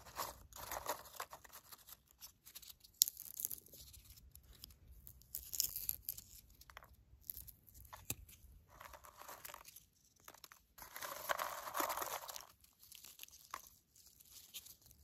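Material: Popcorn.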